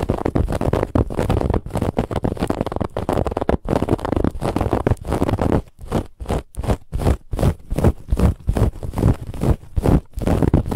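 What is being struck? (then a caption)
Soft fabric pillow with a woven textured band. Fingernails of both hands scratch the woven lattice band on a soft white cushion, producing a rough, dense, low-heavy scraping texture. The scratching runs almost continuously for the first half, then breaks into quick, separate strokes of about two to three per second with brief gaps between them.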